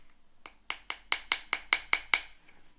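An early 19th century Nanking Chinese porcelain dish is tapped nine times against the bottom teeth on an area that is clearly not restored. Each tap is a sharp, bright click with a pitch near 2.2 kHz that dies away almost instantly, and it sounds the same along the piece, a sign of unrestored porcelain.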